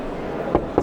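Two quick knuckle knocks on the corrugated sheet metal body panel of a 2022 Citroën Type H-style camper conversion at a fair, tested to hear whether it is fiberglass (GFK). Each knock is a short, dull, mid-pitched thud with almost no ring, over steady background noise. The body is sheet metal; the corrugation once reinforced it and today is only for looks.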